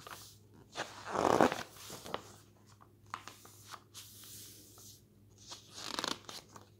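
A hand lifts and flips the thin, glossy paper pages of a lifestyle magazine lying open, making crisp rustling swishes and soft flapping. The loudest page turn comes early, with quieter papery flicks and crinkles following and another swish near the end.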